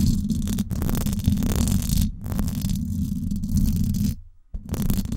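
Long acrylic nails scratch the hollow silver woven-wire dome grille of a Blue Yeti microphone, producing a dense, rumbling scrape that is heavy in the low end with a steady buzzing tone near 200 Hz. Faint, crackly high hiss rides over it, and the scratching continues almost unbroken apart from brief pauses and a short near-silent gap before it resumes.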